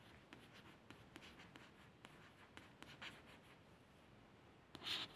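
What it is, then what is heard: Glossy paperback book cover, scratched. Quiet, hissy scrapes and small ticks come in a loose string, mostly high and airy, each dying almost at once, with a louder rasp near the end. It is a nail tracing a glossy paperback cover; the stiff coated card gives a crisp, papery scratch.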